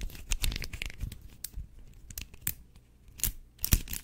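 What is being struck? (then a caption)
Linked plastic fidget chain toy. Fingers stretch, twist and click the segments of an orange and blue linked plastic fidget chain toy. Quick, dry plastic clicks and crinkly, tearing-like rattles come in bursts over soft low thumps. The sharpest clicks are bright and stop almost at once.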